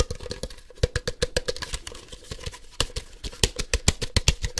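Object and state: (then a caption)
Hollow plastic toy ball. A hand-sized hollow plastic Ultra Ball (Poke Ball) toy is held in one hand and rapidly tapped on its shell with fingertips and nails. About 26 quick, dry taps are heard, each a dull low knock with a bright, clicky edge and almost no ring. They form an uneven, fast-paced patter.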